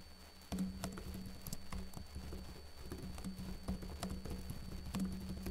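Fingertips with short blue-painted nails type on the plastic keys of a backlit laptop keyboard. Soft, low clicking taps patter steadily over a faint hum after a brief quiet start, with occasional brighter key clacks.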